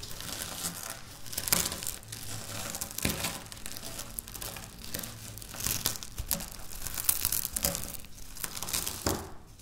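Dry wafer biscuit crumbs are scratched and crushed with long natural nails on a stone countertop. A steady run of bright, dry crackling and crunching, with sharp broadband snaps scattered throughout over a faint low hum.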